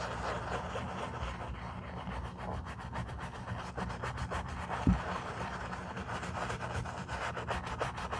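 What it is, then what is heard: Leather boot being brushed. A foam-covered black leather boot is scrubbed with a bristle brush along the side and heel, making a steady, rhythmic, bright rasping of repeated brush strokes over a low hum. One brief louder knock stands out near the middle.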